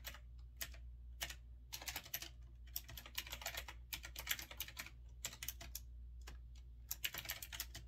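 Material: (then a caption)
Plastic. Fingertips type continuously on a grey retro typewriter-style mechanical keyboard with round backlit keycaps, resting on a wooden desk. Quick bright clicks and clacks come in uneven bursts and short runs, each dying away almost at once, over a steady low hum.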